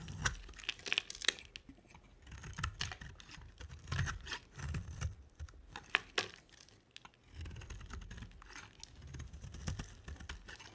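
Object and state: Dry soap bar being carved.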